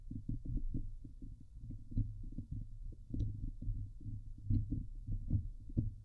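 Long nails scratch the hollow steel wire-mesh dome grille of a Blue Yeti microphone. The result is a quick series of dull, low, thumping rubs with a deep hum-like body and only faint bright scrapes, sounding almost like a muffled heartbeat.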